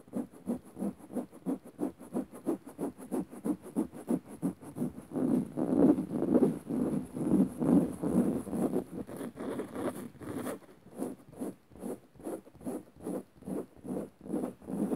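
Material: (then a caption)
Fabric. Long nails of one hand scratch the dark woven fabric of a soft, padded sofa cushion in quick, steady back-and-forth strokes. Each soft, muffled swipe is distinct at first, then they blur into a louder, denser rubbing in the middle before separating again toward the end. The sound sits mostly in the low-mid range with a faint high hiss.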